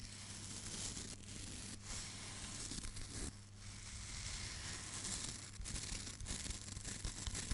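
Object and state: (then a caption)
Hairbrush bristles scratched. Long nails and fingertips scratch and flick the dense black bristles of a hand-sized wooden hairbrush. The result is a continuous dry, crackling scratch with a tearing, rustling texture and bright hiss, over a steady low hum. Sharper flicks stand out briefly toward the end.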